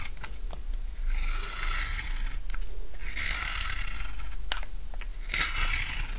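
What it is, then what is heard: Dry soap bar. A utility knife shaves the edge of a solid rectangular bar of dry blue soap into curls, making long, gritty scraping strokes with a bright, crunchy hiss. Sharp little clicks and snaps come between the strokes, all over a steady low rumble.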